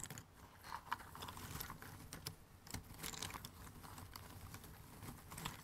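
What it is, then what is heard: Cardboard jigsaw puzzle pieces. A pile of thin cardboard jigsaw puzzle pieces in an open cardboard box is rummaged, stirred and scratched through by fingertips. The result is a quiet, continuous dry rustling and clicking of small pieces shifting against each other, with short, bright, non-ringing ticks and a louder click at the very end.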